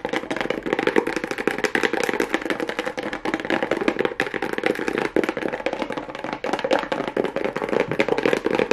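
A small, hollow kraft cardboard box wrapped with a pink plastic rhinestone mesh strip is tapped and scratched fast with long nails. The result is a dense, continuous stream of quick, dry clicks and scratches with almost no ring, centered in the mids around 420 Hz, with little low end and a faint bright edge.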